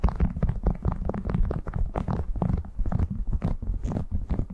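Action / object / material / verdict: scrape / waxed cotton food wrap / waxed cotton / none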